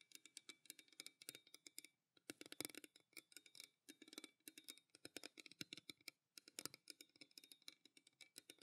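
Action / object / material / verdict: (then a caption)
tap / stainless steel tumbler / stainless steel / none. Fingertips and long nails tap rapidly on the side of a pale green stainless steel tumbler held in both hands. The result is quick, bright, clicky metallic taps in busy bursts, with a faint low ring and short pauses between runs.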